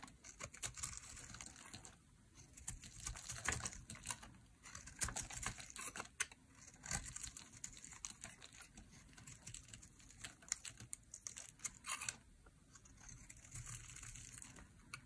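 A metal utility blade shaves curls off the edge of a solid, rounded-rectangle pink dry soap bar held in the hand. The sound is a rapid run of crisp, dry, bright scraping crackles and ticks, like fast keyboard typing, broken by brief quieter pauses.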